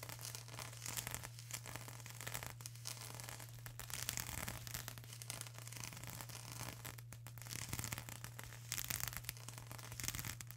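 Long acrylic nails scratch and press on a flat sheet of plastic bubble wrap, making a quiet, dense run of crisp, bright crackles and rustling scratches with scattered bubble pops. A steady low hum sits underneath throughout.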